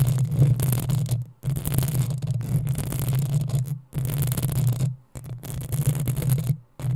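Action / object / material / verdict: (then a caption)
scrape / metal mesh microphone grille / metal mesh / none. Long acrylic nails of both hands scratch the hollow metal mesh head of a black desktop USB microphone. The result is a dense, boomy, low rumbling scrape with a humming tone, plus faint bright hiss on top. It comes in several sustained bursts separated by brief silent gaps.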